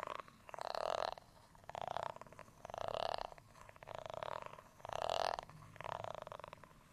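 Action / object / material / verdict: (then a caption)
scrape / ribbed plastic rice paddle / plastic / none. A textured beige plastic rice paddle, flat and solid, is scratched across its ribbed surface with a black tool. Six separate rasping strokes, each about half a second long, are heard. Each stroke is a dense, gritty scrape centered in the midrange with a brighter edge, separated by brief pauses.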